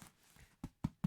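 Three quick taps on a home-baked loaf of bread give short, low, hollow-sounding thuds with almost no ring. The hollow sound is the usual sign that bread is baked through, but the loaf feels heavy and dense, and the inside may not be fully cooked because the oven may have been too hot. The loaf has not yet been cut open.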